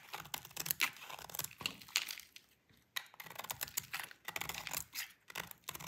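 A utility knife blade scrapes the edge of a solid, dry cream bar of soap painted purple, and the shavings fall onto the table. Bright, crisp scraping and crackling come in quick, gritty strokes, with a brief quiet pause midway before the scraping resumes.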